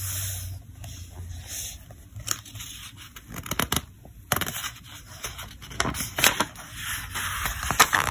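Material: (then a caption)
Paper. Fingertips lift and turn the pages of a thick paper catalog, producing crisp papery rustles, soft swishes, and sharp flicks as each page falls over. The bright, crackly snaps come in uneven bursts over a quiet, steady background.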